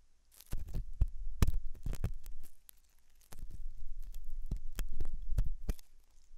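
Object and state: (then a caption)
Silicone ear model being scratched. A hooked metal dental tool scratches inside the ear canal of a white translucent silicone ear model made of soft solid rubber, likely mounted on a binaural ear microphone. The result is close, bassy scraping and rubbing with sharp crackling clicks in two bursts, separated by a short quiet pause.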